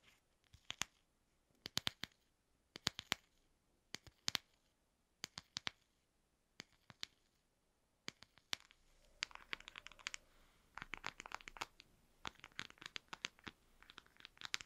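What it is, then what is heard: Small empty plastic box. A small, hollow, apparently empty translucent frosted plastic box with a lid is held between the fingers and tapped and scratched with fingertips and short nails. For the first eight seconds there are crisp, bright taps in short pairs and clusters with quiet gaps between them. After that the sound turns into denser scratching clicks over a soft, high rustle.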